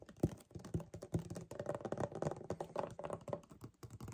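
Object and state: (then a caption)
Paperboard drink carton. Fast fingernail tapping and two-handed gripping on a hollow 1 L white paperboard kefir carton. It makes a quick, irregular run of dull, hollow low taps and soft thumps that die away almost instantly. The sound is muffled, with little bright content.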